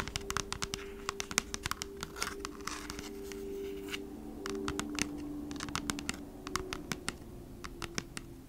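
Long nails tap and scratch the front of a flat cardboard Bee's Wrap package held upright. Quick, dry clicks with bright tops come in irregular bursts, mixed with short scratchy hisses over a faint, steady low hum. Each tap stops almost instantly with no ring, and the whole sound stays quiet.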